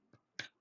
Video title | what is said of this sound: Very Simple/Easy Bread Recipe | should sound hollow if you tap the bottom